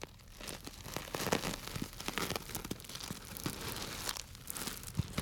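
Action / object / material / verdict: scrape / plastic bag filled with dry grains / plastic, grains / none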